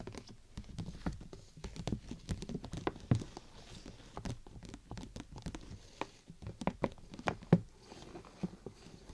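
Fingertips and long nails tap on top of a large, hollow, clear plastic bubble umbrella canopy held over the microphone. The result is an irregular, pattering stream of soft, short, dull taps, mostly low and thuddy, with a few louder knocks and light scratchy touches in between.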